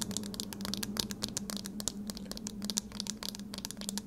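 A pair of eyeglasses with a thin metal wire frame and round lenses, held in both hands, is tapped on the lenses and frame with long red nails. Rapid, bright clicking taps come in a dense stream, with a faint steady low hum underneath.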